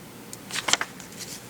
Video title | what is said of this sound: $2,000 HUNT FINDS - collectible currency FOUND in circulated one dollar bills from BANK | you can hear the crisp sound to it